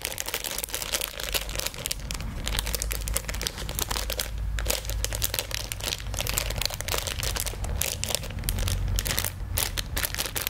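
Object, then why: Plastic film bag holding a squeeze toy. A small, colourful printed plastic-film bag holding a squeeze toy is handled and crinkled with the fingers close to a binaural microphone. Dense, rapid crackles and crinkles run throughout without a break, with bright, sharp edges over a steady low rumble.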